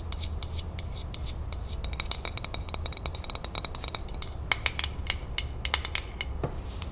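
Long nails rapidly tap and scratch the metal twist lid of a full glass salsa jar, heard close up. Sharp, bright clicks with very short ring come in quick bursts, with scratchy sounds in between, over a steady low hum.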